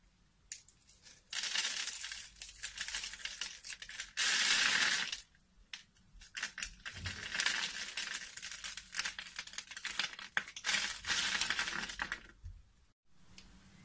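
A metal blade cuts a grid into a solid rectangular black bar soap with an embossed logo, held in the hand, and scrapes off small cubes. Bright, dry scraping and crackling come in irregular bursts, with one long, louder scrape partway through and brief quiet gaps between passes.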